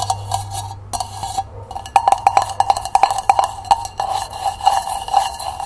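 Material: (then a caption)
Copper. Long painted nails tap quickly on the base and walls of a small, hollow hammered copper cezve held on its side. The taps come as a fast, uneven run of sharp metallic clicks, each carrying a short ringing tone near 790 Hz that dies away almost at once. Faint bright hiss sits beneath them.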